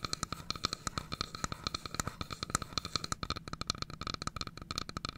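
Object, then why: Wooden box tapped and scratched with fingernails. Long fingernails tap and scratch the wooden sides of a carved wooden domino box about 20 cm long with a pale sliding lid, held in both hands. Some 44 quick, dry clicks follow one another in an irregular stream, each with a bright ringing tone and a soft low knock that dies away almost at once.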